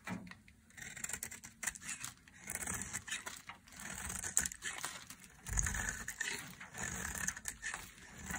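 A metal blade scrapes and carves a hand-sized, solid, dry yellow soap bar held in the hand, shaving it into fine shreds. Quick, dry, crisp scraping strokes come in bursts, with a bright, hissy edge and occasional soft low thuds. Each stroke ends sharply with no ring.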